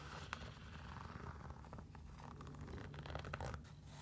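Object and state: Fabric mesh sneaker scratched.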